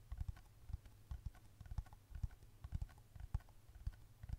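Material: Plastic.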